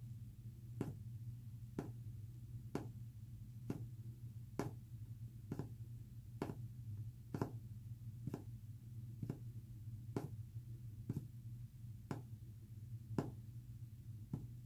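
Short fingernails tap a flat, solid white-painted wooden panel in a steady, evenly spaced series of short, sharp clicks, about one per second. The taps die away almost instantly over a continuous low hum.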